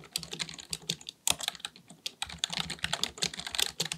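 Both hands type continuously with their fingertips on a black full-size plastic keyboard resting on a desk, likely mechanical with a hollow body. Rapid, dry key taps click in a steady stream with short bursts and a brief pause near the middle. The taps are bright, crisp and quick to fade, with very little low end.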